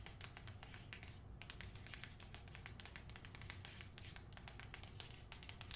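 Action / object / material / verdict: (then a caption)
tap / book with fingernails / paper / none. A book is tapped rapidly with the fingernails, producing a dense stream of quiet, dry, bright clicks that die away almost instantly. A steady low rumble sits underneath the taps throughout.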